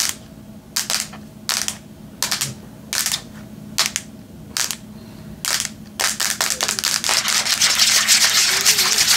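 Long nails scratch and tap the metal back and screen of a Samsung tablet held in both hands. Bright, hissy scratching bursts start out slow and spaced apart, then speed up and crowd together into an almost continuous, louder rasp by the end.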